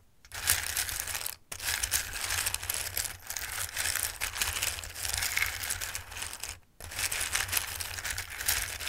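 A bowl of hard, dry raw pasta shapes is picked at and stirred by fingertips, producing dense, bright clicking and rustling. Two brief silences near 1.4 and 6.7 seconds break up the clatter.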